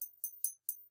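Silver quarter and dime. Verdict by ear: Real.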